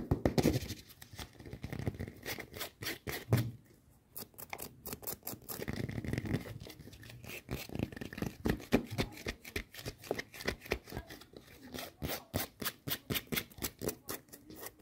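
Long nails tap and scratch quickly across the solid foam-rubber sole and white strap of a pink-patterned rubber flip-flop sandal. The result is fast, uneven clicky taps mixed with dry scratchy rubbing, over a soft, dull low body. There is a brief lull near the four-second mark, then a steady run of crisp taps to the end.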